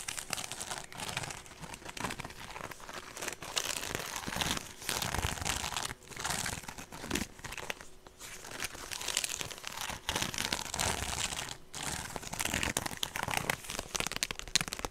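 A hollow woven straw handbag is turned and held close to the microphone while long nails scratch across its woven surface. The result is a steady, dense, dry crinkling and rasping texture, bright and full of quick scratchy bursts with brief pauses between strokes.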